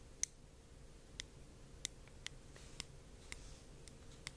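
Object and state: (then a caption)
Thick-walled hollow glass orb. Light tapping on a heavy, thick-walled glass art orb that is completely hollow inside gives eight sharp, high-pitched glassy ticks at uneven intervals. Each tick dies away almost at once over a quiet, low background hum.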